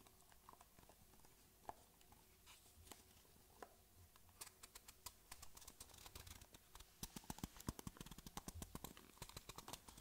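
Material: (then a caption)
Cardboard. A small, hollow white cardboard box held in one hand is tapped with long fingernails. Quiet, dry clicks come at first as scattered single taps, then from about 4.5 seconds turn into faster runs. They grow loudest and densest after 7 seconds, each tap sharp and bright with a short hollow knock that dies away almost at once.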